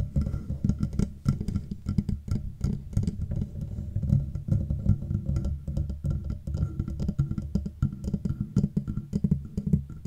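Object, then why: Metal microphone body. Fingertips and long nails tap rapidly on the sides of the matte black metal body of a Blue Yeti microphone, a hollow housing. The taps form a dense, continuous patter of short, dull knocks with a deep, boomy low end and almost no ring, with lighter clicks scattered on top.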